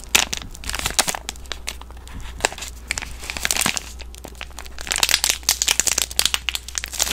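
A green soap bar in a plastic film wrapper is crinkled and squeezed by hands with long nails. Dense, bright crackling and crinkling of the film comes in quick bursts, growing busier and louder toward the end over a faint steady low hum.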